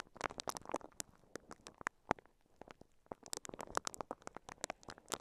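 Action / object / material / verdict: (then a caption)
scrape / microphone covered in plastic wrap, scratched with silicone bristles / plastic film / none. A microphone covered in clear crinkly plastic wrap is brushed and scratched with the bristles of a pink silicone scalp massager held in both hands. A quiet, rapid stream of sharp crinkling taps and scratchy rustles is heard, with bright crackles and a few louder snaps standing out. Each sound dies away almost instantly.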